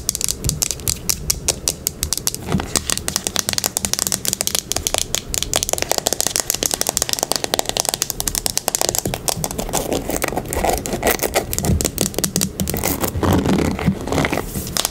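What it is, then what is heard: Plastic paddle hairbrush. Long nails rapidly scratch across the bristles of a teal plastic paddle hairbrush and tap its plastic back. The result is a dense, continuous stream of short, dry, bright clicks and scratchy rattles with no ring, holding a steady level throughout.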